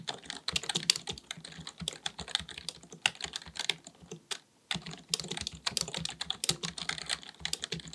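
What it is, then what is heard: Plastic computer keyboard being typed on. Fingertips of both hands type rapidly on a black full-size plastic computer keyboard resting on a desk. A dense stream of sharp, bright key clicks with very little low end, broken by a brief pause near the middle before the typing resumes.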